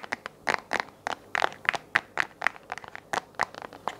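Fingernails tap and scratch the face of a hollow, round white plastic desk lamp base held close, producing a rapid series of short, dry clicks and scrapes. The hits are separate and crisp, centered around 1.8 kHz with brighter high edges and almost no low end or ring.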